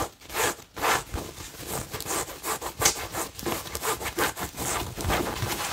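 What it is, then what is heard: Cotton fabric tote bag. A cream-coloured cotton fabric tote bag with a blue and yellow printed logo is held up and scratched with fingernails across the printed surface. Quick back-and-forth strokes make a dry, bright, rasping scratch, like fine sawing or rubbing, with each stroke cutting off almost at once.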